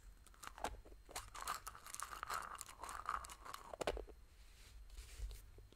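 A pink, hollow, hand-sized plastic toy egg is held in both hands and tapped and scratched with long painted fingernails. Quiet, irregular clicky taps mix with crunchy, crinkly scratching that carries a hollow mid-range tone and bright edges.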